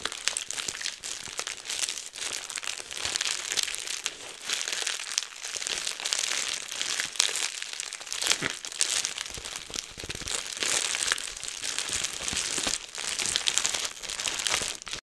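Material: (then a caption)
Plastic. A clear plastic bubble wrap sheet is rolled and squeezed between both hands close to a microphone while fingers pop and crinkle the bubbles. A steady, dense crinkling fills the clip, bright and high with almost no low end, broken by sharp, quick-decaying pops and crunches.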